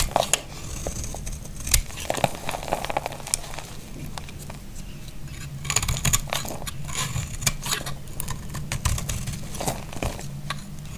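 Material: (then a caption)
Soap. A utility knife blade carves and scrapes a solid, dry green bar of soap held in the hand, shaving it into curls. The sound is a dense, continuous crackly scraping with many short, sharp, bright ticks over a steady low rumble.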